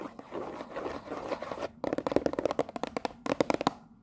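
Long nails scratch across the top and front of a cellophane-wrapped cardboard tea box, making a steady crinkly rasp for nearly two seconds. They then switch to tapping, giving about 17 quick, dry clicks with a mid-range tone and almost no ring.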